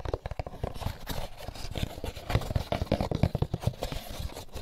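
Fingertips scratch and tap an empty molded paper pulp egg carton, first on the closed lid and then on its inside surface once opened. A rapid run of soft, dull, low-heavy taps mixes with dry scratching, each tap dying away almost instantly.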